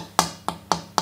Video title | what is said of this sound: Wood Selection for a Guitar. With Guitar Maker Pablo Requena. | यह कितना घना है, मैं इसे कील से थपथपाता हूं और आपको उस तरह की आवाज आती है